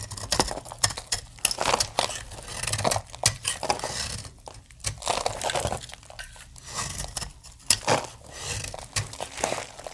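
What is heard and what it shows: A metal blade chops and shaves brittle plates off the end of a hand-held, palm-sized, solid opaque blue dry soap bar. A rapid, irregular series of dry, crisp crunching and crackling cuts with a bright, papery texture, each snap dying away almost instantly between quieter scraping passages.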